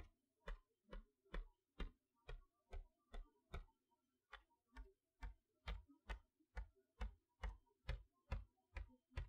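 A long fingernail taps letter by letter across the front of a boxed chalkboard set, a cardboard toy box with a plastic window, in a steady ticking rhythm. About 20 quiet, short taps are heard, each a dull low knock with a faint bright click that dies away almost at once.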